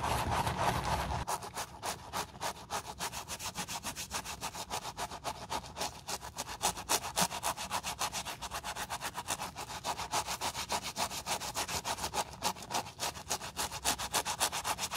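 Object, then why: Suede shoe scrubbed with a stiff-bristle brush. A tan suede high-heeled shoe, held in a gloved hand, is scrubbed with a foamy stiff-bristle wooden brush. After a brief, denser rush of noise at the start, quick back-and-forth strokes give a steady, rhythmic, bright scratchy rasp of about three to four strokes per second.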